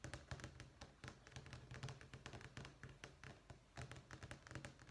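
Fingernails and fingertips tap rapidly on a thin, solid black-and-white checkerboard vinyl flooring sample page in a sample book resting on a desk. The steady, quick taps carry a soft low thump with bright, sharp clicks on top, each dying away almost at once.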